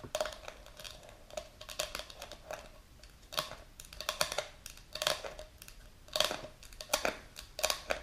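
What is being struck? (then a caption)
Plastic jar with clear plastic lid. Long pink nails tap and scratch the clear plastic lid of a medium plastic supplement jar filled with powder. The result is a run of quick, bright plastic clicks and taps with a faint ringing tone around 590 Hz, interleaved with soft, hissy scratching. Each tap dies away almost instantly.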